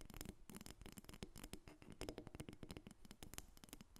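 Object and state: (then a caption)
Carved wooden figurine. Long red acrylic nails from both hands tap and scratch a solid carved dark wood dolphin figurine lying on a table. The result is a quiet, rapid, continuous patter of dry, short clicks that fade almost instantly, layered with soft scratching and light low thumps.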